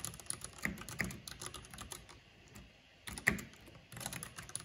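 Fingertips and long painted nails type on the keycaps of a full-size black plastic mechanical computer keyboard with purple RGB backlighting. Quick, irregular bursts of bright, sharp clicks and taps with very short decay are heard, with a quieter pause in the middle. A louder, crisp clack stands out just after the pause before the typing resumes.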